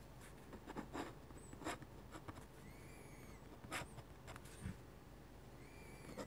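A metal-nib dip pen scratches small handwriting strokes across a sheet of flat white drawing paper, making short, dry, bright scratches and taps against a quiet low hiss. Faint, thin whistling tones rise and fall in the background between strokes.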